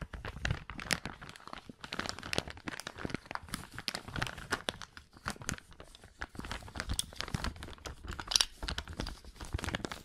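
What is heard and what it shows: A small, empty, transparent plastic zip-lock bag is held close to the microphone and crumpled and crinkled with the fingertips of both hands. A dense, continuous stream of sharp, bright crackles and crinkles runs throughout, with louder crunches mixed in and no ringing between them.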